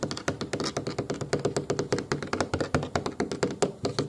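Fingertips and short nails tap rapidly, about 32 times, on the black, pebble-textured, rounded plastic armrest of a booster car seat, which is firm and apparently hollow or foam-backed. Each tap gives a quick, dull knock with a low hollow thunk and a very short ring, in a fast, steady patter.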